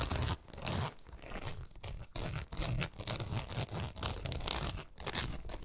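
Long nails scratch and rake across the taut nylon mesh window panel of a pet travel backpack. The result is a dense, continuous rasping and crackling scrape, bright and broadband, with a low rumbling undertone and brief dips between strokes.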